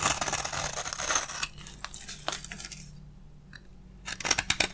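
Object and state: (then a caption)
Dry bar soap being scraped. A solid, hand-sized bar of dry beige soap is scraped lengthwise with a black utility blade, peeling off crunchy curls. Bright, dense scraping crackles fill the first second and a half, then give way to sparser crisp ticks and a quieter lull before a final cluster of sharp crunches near the end.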